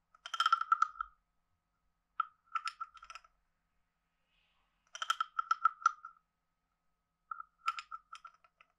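A wooden stick is scraped along the ridged back of a hand-sized, hollow, carved wooden frog guiro. Four separate scraping passes each produce a quick run of dry, clicking ratchet ticks with a hollow, croaking tone. Each run is short and bright, with quiet gaps between passes.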